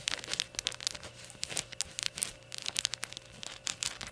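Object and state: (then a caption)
Ceramic shot glass. Long gold nails tap the glossy sides of a small, hollow, glazed ceramic rainbow shot glass resting on a towel. The result is a quick, irregular series of bright, dry clicks that die away almost instantly, with little low end and no lingering ring.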